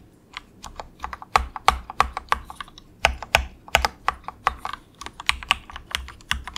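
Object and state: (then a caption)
Plastic mechanical keyboard. Fingertips of both hands softly type on an inexpensive compact mechanical keyboard with grey plastic keycaps. Around thirty short, crisp plastic clacks come in an uneven run, centered near 1 kHz with bright tops. Each keystroke dies away almost instantly over a quiet background.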